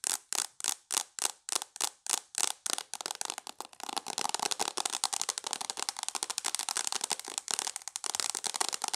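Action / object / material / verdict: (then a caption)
tap / tablet in a plastic case / plastic / none. Long nails tap the screen of a tablet in a mint plastic case, making sharp, bright clicks with almost no ring. Evenly spaced taps give way after about three seconds to fast, dense tapping that runs to the end.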